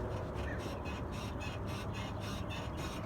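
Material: Nothing is struck.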